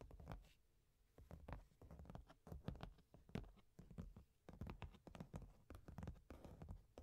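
Long painted nails tap and scratch the top of a medium, closed, hollow corrugated cardboard box sealed with orange tape and lying on a velvet cloth. The result is a quiet, irregular patter of soft, dull, low-heavy taps mixed with light scratching, with each tap dying away almost at once.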